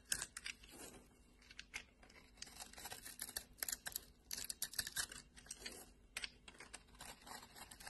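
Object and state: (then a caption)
Bar of soap being scraped. A metal blade scrapes the carved pattern off a solid orange bar of soap in a quiet, rapid series of short, bright, crisp scratches and crumbly rasps. The soap's surface is left smooth.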